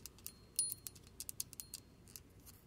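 A long light-pink fingernail scratches and taps along the ridges of a metal safe combination dial knob set in its recessed metal bowl. The result is an irregular series of small, bright metallic clicks and scrapes over a quiet low hum, with a faint high ringing tone behind some of the taps.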